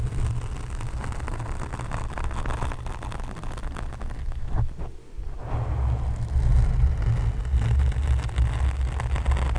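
Long nails tap and scratch the sides of a black foam microphone cover with both hands. The result is a dense, muffled rumble of soft thuds and scratchy rustling, heavy in the low end. It briefly drops near quiet midway, then returns louder.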